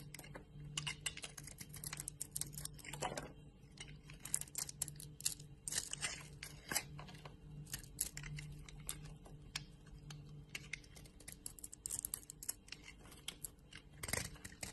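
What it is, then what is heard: Bar soap being carved. A solid yellow and white bar of soap, held in a hand, is carved with a utility knife blade so chips break off. Quiet, bright scraping and cutting come as rapid crisp crackles and short rasping strokes over a faint steady low hum, with a louder scrape near the end.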